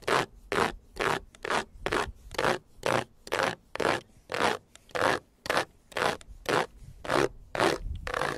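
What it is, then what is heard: Plastic car front grille being scratched. Fingertips and nails scratch and rub across the large dark grey plastic front grille of a white Jeep, a fixed, hollow grille with vertical slots and a honeycomb mesh. The result is a steady series of short, dry, bright scraping strokes, each with a hollow plastic rasp and almost no ring, separated by near-silent gaps.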